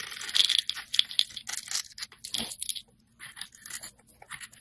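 A metal blade slices and scrapes a solid multicolored bar of soap (blue, white, purple and pink) held in the hand, with flakes falling off. Crisp, bright scraping and crackly tearing come in short bursts separated by brief gaps, with almost no low end.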